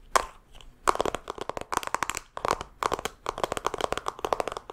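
A pink rectangular makeup palette compact with an embossed pattern and a hollow plastic case is held in both hands and tapped with long fingernails, then handled and opened. It gives a rapid series of sharp, dry cracks and clicks centered around 1 kHz, with brief pauses between bursts and almost no ring after each hit.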